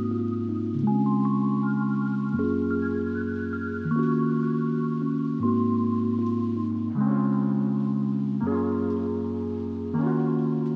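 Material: Nothing is struck.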